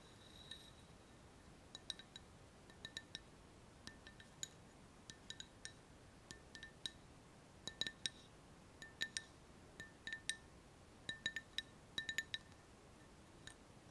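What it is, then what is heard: Empty glass cup tapped with fingernails. Long fingernails tap the walls of an empty, hollow, clear glass cup with a handle, producing quiet, sharp clinks. The taps come in irregular clusters, each ringing bright near 3.8 kHz with a fainter tone near 1.8 kHz and dying away almost instantly. A soft, steady background hiss runs beneath them throughout.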